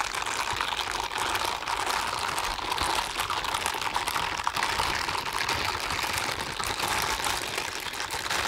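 A pair of blue silicone scrubbing gloves worn on both hands, with the palms rubbed and slid against each other. A steady, dense stream of soft rubbery squeaks and crinkly friction runs the whole clip, centered in the midrange around 1 kHz with a bright hiss above and almost no low end.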